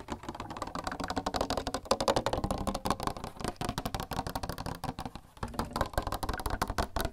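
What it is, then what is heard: Water cooler tapped. A plastic water cooler is tapped rapidly and continuously with quick, dry, hollow knocks. The knocks have a mid-range tone and short decay, with a brief lull just past five seconds before the tapping resumes.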